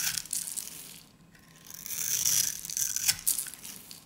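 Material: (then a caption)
Soap. A hand-sized, solid peach-colored bar of dry soap held in one hand is shaved and cut into small cubes off its end with a metal utility-knife blade, with crumbled pieces falling away. Crisp, bright crunching and scraping comes in a run of short strokes, with a quiet pause near the middle before the dense shaving resumes.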